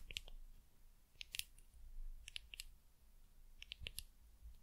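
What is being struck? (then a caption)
Small frosted glass dropper bottle. Long nails tap a small, labeled, frosted glass dropper bottle in quick clusters of light clicks. Each tap is a bright, dry tick centered near 3 kHz that dies away almost instantly, over a low, quiet background rumble.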